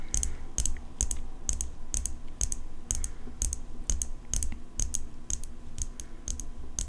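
Long fingernails tap the blade of an open steel folding pocket knife held in one hand. The result is a stream of sharp, bright metallic clicks at about two per second in an uneven rhythm, each dying away almost instantly over a steady low hum.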